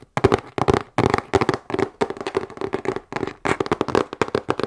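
A medium, hollow, closed corrugated cardboard shipping box is held in front of the chest and tapped with long nails on its sides and top. The result is quick clusters of short, dry taps with a hollow mid tone and almost no ring, separated by brief pauses.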